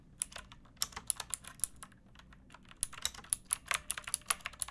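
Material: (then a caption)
Plastic. Long nails and fingertips type on a backlit pink mechanical keyboard with round plastic keycaps and a hollow plastic case. Bright, sharp clacks and taps fire off in quick, uneven runs, each dying away almost instantly, with a brief lull in the middle before the typing picks up again.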